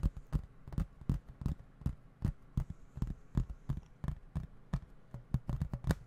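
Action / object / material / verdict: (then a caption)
tap / plastic video game case / plastic / none. A hollow plastic video game case with printed artwork is held in both hands and tapped with fingertips, then moved about near the microphone. About twenty-two quick, dull, low taps land in an uneven rhythm, each dying away almost at once, with faint bright clicks on top.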